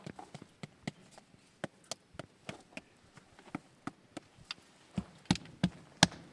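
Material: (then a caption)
Stone. A rock wall in a valley is knocked on repeatedly during a treasure hunt, producing a series of short, dry taps with almost no ring. The last few knocks are louder, with a stronger low thud around 200 Hz.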